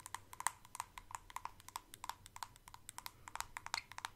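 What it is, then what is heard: Plastic jar tapped with nails. Long acrylic nails tap and scratch the sides and screw lid of a medium white plastic Elemis facial pads jar, hollow and holding pads. About 31 quick, dry clicks come at an irregular pace, each with a hollow ring near 1 kHz and a bright edge, and faint scratching runs between them.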